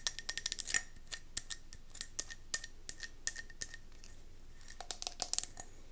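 Long nails tap and scratch fast on a round gold mercury glass candle jar with a metallic rim, held in the hand. Sharp, bright clicks come in quick bursts with brief pauses, and a faint ring sits around 2 kHz under the taps.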